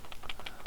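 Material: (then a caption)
Plastic. A 5/8 ounce crankbait fishing lure is shaken to sound its internal rattle. It gives a quick series of short, dry clicking rattles with a deep tone.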